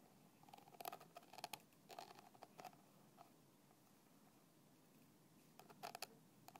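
A thin black stick taps the red plastic cap of a small, translucent plastic bottle that lies on its side, partly filled. Quiet, dry, clicky taps with a hollow tone around 750 Hz and bright edges die away almost instantly. They come in irregular clusters, with a long quiet pause in the middle of the clip before a final burst.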